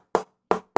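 Three taps on a quarter-sawn, straight-grain, slightly flamed old-growth Brazilian rosewood tonewood board, intended for upcoming guitar builds, each giving a short, bright knock centered around 445 Hz that dies away within a fraction of a second. The tap tone is judged very good and very vitreous, with a glassy ring.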